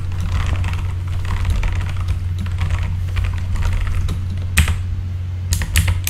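Fingertips of both hands type continuously on a full-size RGB backlit mechanical keyboard with plastic keycaps. Quick, bright clacking keystrokes run throughout over a steady low hum, with a few sharper, louder key strikes near the end.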